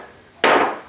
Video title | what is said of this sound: Engine 02 Babbitt Caps and Block | it's ringing and once it cools down to room temperature it'll even ring more than that